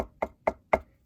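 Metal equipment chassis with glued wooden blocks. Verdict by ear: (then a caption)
Damped. Knocks on the metal chassis of a PS Audio DLIII DAC with wooden blocks glued onto it produce a quick series of short, dull thuds that die away almost at once. The panel sounds like knocking on wood rather than ringing metal, because the glued blocks have totally changed its resonance characteristics.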